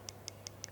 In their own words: นาฬิกาเรือนนี้มีกระจกเป็นพลาสติกเราใช้วิธีการพิสูจน์เคาะเสียงจะเป็นแบบนี้